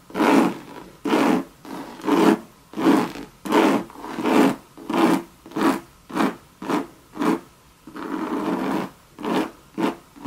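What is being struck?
Coated canvas handbag.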